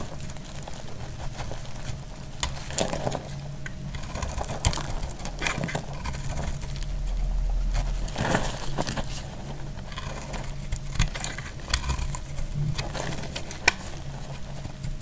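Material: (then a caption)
Soap. A hand-held bar of dry purple soap is cut and scraped with a box-cutter blade, shaving off crisp flakes. Sharp, dry scraping clicks and snaps sit over a steady low rumble, with brief bright crackles as the flakes break away.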